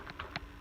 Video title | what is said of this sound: Dyson v7 animal pro (hepa) | I shake this you can hear it you can see it wiggle side to side it's not very secure